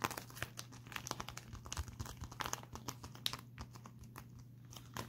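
A pink metallic foil bubble mailer is held up and scratched and crinkled with fingertips and short nails. It makes dense, bright crackling and crinkling with quick sharp ticks over a steady low hum, and the crackle thins out briefly near the end before picking up again.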